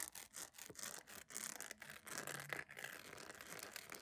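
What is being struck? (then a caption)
Soft plastic sandal. A beige jelly plastic sandal with a bow is turned in the hands while long nails scratch and tap its sole and edge. The result is fast, bright, dry scratching with quick rasping strokes and short taps that cut off almost at once, with little low end.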